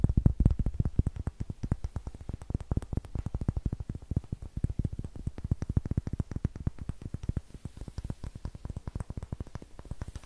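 A large, solid, light-colored wooden block held close to the microphone is tapped rapidly with fingertips and nails. It produces a fast, steady stream of dozens of short, dry, low-pitched knocks with almost no ring.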